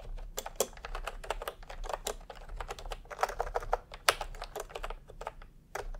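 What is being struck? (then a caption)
Plastic keyboard with round keycaps. Fingertips of both hands type continuously on a full-size, milk-tea pastel, typewriter-style keyboard with round plastic keycaps in a hollow plastic case. A steady run of short, dry, clacky keystrokes, each with a bright top and a faint hollow body, with a low background hum underneath.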